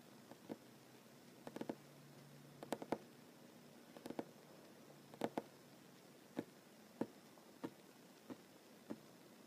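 A solid wooden tabletop is tapped with short nails and fingertips, one hand drumming and later both hands near the surface. Quiet, dry taps with a hollow midrange tone come singly and in quick clusters over a faint steady hiss. Each tap dies away almost instantly.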